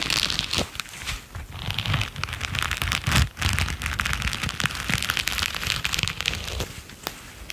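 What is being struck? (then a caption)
Rubber-coated knit work gloves. A pair of grey latex-coated knit work gloves with red knit cuffs, worn on both hands, rub and brush against each other. The result is a steady, dense, scratchy crackle with bright hiss and a low rumble, broken by sharp clicky snaps and a brief dip around the middle.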